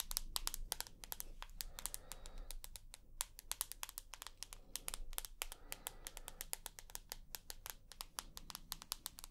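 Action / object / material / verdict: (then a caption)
tap / smartphone with glass screen and aluminium body / glass / none. Long nails tap and scratch the glass screen and aluminium edge of a rose gold iPhone held near the face. Rapid, irregular bursts of sharp, bright clicks die away almost instantly, with soft scratching between them over a steady low rumble.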